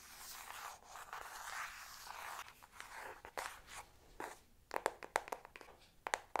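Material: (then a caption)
Cardboard. Long pink nails scratch across the cover of a flat, hollow Revolution eyeshadow palette with a cardboard case, making a soft, continuous hiss for about four and a half seconds. Then they tap it in a run of sharp, dry clicks that stop almost instantly with no ring.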